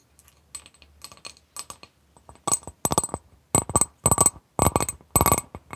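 Long pink nails tap and scratch on an empty, medium-sized, clear etched glass bowl held upside down. Quiet, irregular clicks give way to louder bursts of tapping and scratching, each with a short, bright glassy ring.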